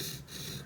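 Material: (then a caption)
Soft iron. The soft iron face of a carving chisel is scraped across a whetstone. It makes a continuous gritty, hard rasping with strong bright grain and a low hum, dipping briefly near the middle. This gritty sound is the normal sound of the soft iron layer being sharpened, lower than the higher sound of the hard steel back.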